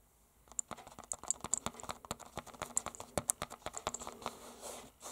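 Fingertips with short nails, metal rings worn on the fingers, tap and scratch a small, solid closed book wrapped in a red painted canvas cover. About 23 quick, dry, bright taps come in an irregular run, mixed with faint scratching and high clicks. The sound trails off into a soft rustle at the end.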